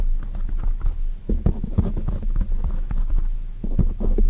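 Long nails on both hands tap quickly on a black oval foam microphone cover. It sounds like a dense stream of soft, muffled thumps with a deep, throbbing low rumble and almost no bright edge.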